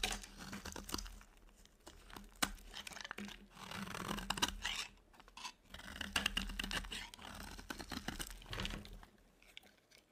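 A utility knife blade shaves a dry, solid white soap bar, and then fingers break flaky chunks off the same bar. The clip is quiet and bright, filled with dense, dry scraping and crisp crunching crackles that rise and fall in bursts over about ten seconds.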